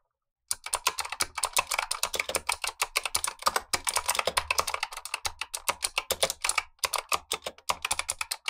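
A black tenkeyless Razer Huntsman V2 mechanical keyboard with clicky switches and plastic keycaps, typed on continuously by gloved fingertips while the upper keyboard sits idle. After half a second of silence, a rapid, steady stream of sharp, bright clicks begins, each one short and dry. It carries little low end and keeps a brief pause near the 7-second mark.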